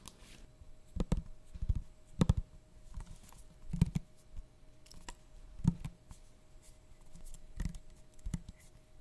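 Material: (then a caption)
Glass. Fingertips and short nails tap and scratch a small glass bottle full of amber oil with a white plastic cap and a paper label, held in the hands. Soft, dull taps and brief scratching arrive in uneven bursts over a faint steady hum. The sound is mostly low with very little brightness.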